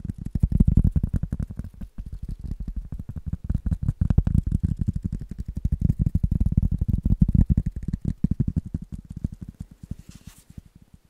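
A rubber item is tapped rapidly and steadily with soft, dull, low thuds that die away almost instantly. The quick tapping continues throughout, growing quieter toward the end.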